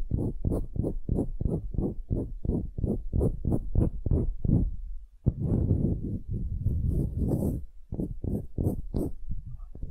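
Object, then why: Wooden cube, end grain. A solid pale wooden cube is held upright while long nails scratch and tap its end-grain face. Quick, regular low scratching strokes of about three per second fill the first five seconds, then a brief pause and a sharp tap. After that comes a denser, rougher run of scratching with faint bright edges.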